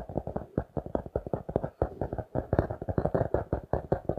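A notebook with a glossy laminated cardboard cover, held upright, is tapped and scratched with fingertips and nails. About 28 quick, dull taps follow one another in a steady run. Each tap is soft and low to mid-toned with a faint scratchy edge, and it dies away almost instantly with no ring.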